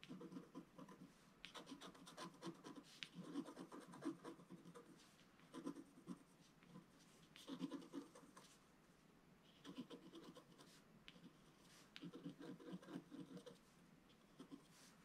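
A wooden stylus scratches small details near the fish at the bottom left of a flat, black-coated scratch-art paper sheet. Quiet, dry scraping strokes come in short bursts with brief pauses, with a soft papery rasp and faint bright edges.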